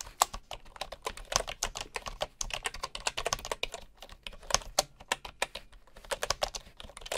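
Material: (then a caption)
Bamboo. Fingertips of one hand type steadily on a bamboo computer keyboard with wooden keycaps and a hollow housing, while a wooden mouse sits alongside untouched. A dense run of short, dry, bright taps clicks with little low end and almost no ring.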